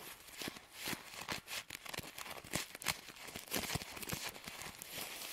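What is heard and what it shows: A hand-held stack of filled paper tea sachets is squeezed and crinkled by fingers, then its paper edges are fanned and riffled with fingertips and nails. The result is quiet, bright, dry crinkling and crisp ticking bursts with almost no low end and no ring after each sound.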